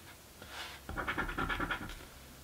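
A coin scratches off the grid squares of a paper crossword scratchie lottery ticket. After a faint, softer rub, a quick run of short, raspy strokes follows, each a dry papery scrape with a bright edge centered near 1.4 kHz. The scratching stops abruptly and fades back to quiet.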